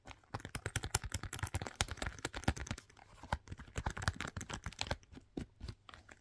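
Long pink nails tap and scratch along the glossy upper of a hollow, empty black patent leather lace-up boot with a zipper, near the zipper and eyelets. A rapid run of dry, crisp clicks and scrapes with dull low thuds sounds close and quiet, each tap dying away almost instantly.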